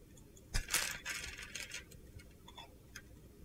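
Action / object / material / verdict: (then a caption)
scrape / glitter soap bar / soap / none. A utility knife scores and chips a solid green-blue glitter soap bar held in the palm, breaking it into crunchy small flakes. Sharp, bright cracks and gritty scraping bursts come first, then a run of quieter ticks as small flakes break away.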